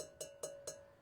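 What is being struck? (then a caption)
Stoneware vessel. Three light taps on a dark charcoal-blue stoneware vessel with a metal-looking rim. Each tap rings with a sustained tone around 617 Hz and bright high overtones, so the vessel sounds like metal.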